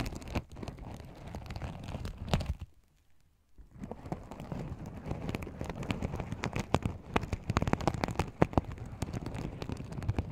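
Fingertips and nails rub and flip the sequins along the edges of a small, empty, open fabric pouch covered in sequins. This makes a dense stream of soft, low-heavy crinkling and crackling clicks. The sound pauses briefly near the three-second mark, then resumes with sharper, brighter snaps scattered through the texture.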